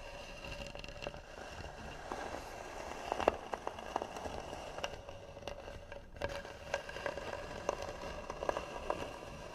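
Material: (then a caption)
Wood. Long nails scratch and tap on the hollow lid of a carved, varnished wooden box. Soft, steady scratching is broken by sharp, short taps, and the taps ring with a hollow tone around 610 Hz. The clicks fade almost at once, with a faint bright edge.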